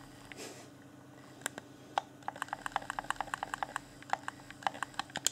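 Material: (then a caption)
Plastic. Fingertips rapidly tap and click the buttons and D-pad of a hand-sized, hollow, transparent plastic Xbox One Afterglow game controller. About two dozen short, dry, bright plastic clicks come in quick, uneven bursts over a faint steady hum, with a brief soft rustle near the start.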